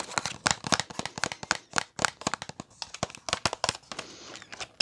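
Long nails tap and scratch a small, flat Kiss press-on nails package with a cardboard backing and plastic blister. About 27 sharp, bright clicks and crinkly taps come in quick succession, with no ring after each one. A softer stretch of continuous scratching comes near the end.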